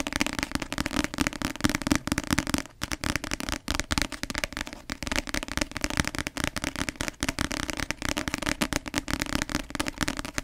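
Long nails tap fast on the glossy cover of a paperback novel, making a dense, crackly stream of sharp clicks. The tapping runs steadily for about ten seconds, with a brief pause near the three-second mark.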